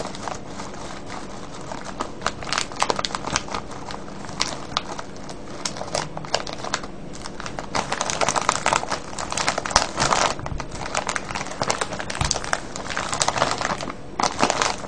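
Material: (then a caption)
Plastic film. Hands quickly crinkle a full, clear plastic cellophane bag of wrapped candies. The result is a dense, continuous stream of sharp, bright crackles and rustles, with louder bursts toward the second half.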